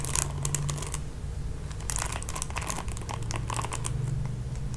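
Long nails strum and scratch across the ball-tipped nylon bristles of a red plastic paddle hairbrush. The result is a steady run of quick, bright crinkly ticks and rustles over a constant low hum, with denser bursts near the start and middle.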